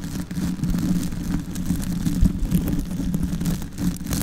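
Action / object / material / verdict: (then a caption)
scrape / foam microphone windscreen / foam / none. Long white acrylic nails scratch and rub directly on a soft, porous, medium-sized black foam windscreen fitted over the head of a silver Yeti microphone. The sound is a close, muffled, continuous low rumble of brushing and scraping with uneven swells and no clear separate strikes.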